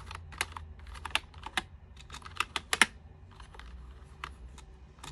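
A small handheld brush is rubbed across the keycaps of an unlit white plastic full-size computer keyboard, producing bright scratchy brushing with sharp clicky taps of keys over a low steady hum. The taps are loudest around the middle of the clip, with the brushing continuing more quietly toward the end.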